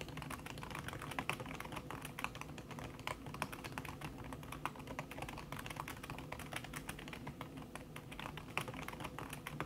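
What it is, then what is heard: Keyboard with silicone key cover, fast typing. Fast typing with fingertips and long red-painted nails on a thin backlit aluminium keyboard whose plastic keys sit under a red silicone key cover. The result is a continuous stream of soft, muted clicks and taps with short, quick decay and occasional brighter nail clicks. A low hum runs steadily underneath.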